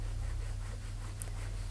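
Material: Nothing is struck.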